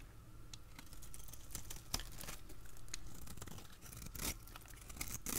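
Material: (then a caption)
Soap. A utility blade scrapes and cuts thin, crunchy layers from a solid, dry, translucent yellow oval soap bar held in the hand. Dry scratchy crackles and short, bright crunching bursts repeat over a steady low background.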